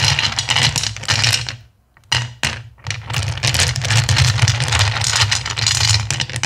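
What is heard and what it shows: Both hands with long nails scratch and rake through a pile of small, solid, clear acrylic gems in a black bowl. Dense, bright clicking and rattling runs throughout over a steady low hum, with a brief near-silent pause about two seconds in before the raking resumes and stays steady.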